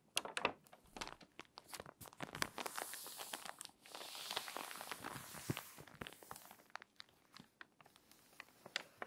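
Long-nailed fingers turn a page of an open, crinkly, water-damaged glossy paper magazine and press along its spine. Sharp crackles and taps lead into a sustained, bright rustling sweep as the page turns. Scattered crisp crinkles and light ticks follow as the spine is pressed.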